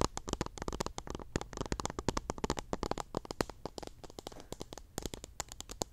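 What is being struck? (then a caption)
Plastic cup packed with cotton swabs. Fingertips and long nails rub, scratch and pluck at teal cotton swabs packed into a small clear pink plastic cup. The result is a dense run of quick, dry crackling clicks and scratches with a full low body and bright, brittle tops. Each tick dies away almost instantly.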